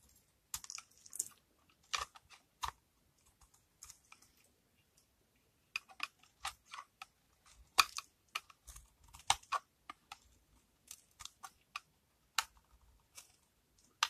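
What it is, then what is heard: Dry bar soap. A small metal knife blade scrapes and carves a solid, dry, white-and-green bar of soap held in one hand, with the dry shavings falling onto a pile on a wooden table. Short, crisp, bright crunching scrapes come in irregular bursts separated by quiet pauses, each dying away almost at once with little low end.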